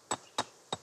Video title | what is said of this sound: La Réunion, le paradis des marcheurs (France Ô) | ça sonne beaucoup plus creux ça ça nous donne l'état d'altération des roches